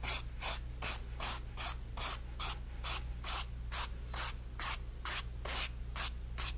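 A flat brush is stroked vigorously back and forth across a painted, stretched cotton canvas panel, producing a steady rhythm of bright, breathy swishes against the fabric texture, about two strokes per second. A constant low hum sits underneath the brushing throughout.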